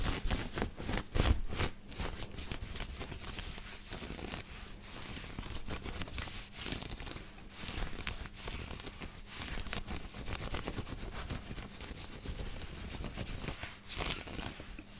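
Fingertips and nails scratch and rub a white knit cotton t-shirt worn on the body, working over the shoulders and chest. The result is a continuous, close, scratchy rustle with brighter crackling bursts and soft fabric brushing, with a faint steady low hum underneath.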